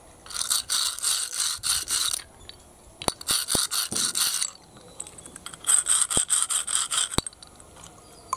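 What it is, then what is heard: Pile of empty snail shells. Fingers rub and scrape through a heap of small, hollow, empty snail shells on concrete. Three bursts of rapid, bright, brittle rattling and scraping are heard, separated by quiet gaps with a few sharp clicks.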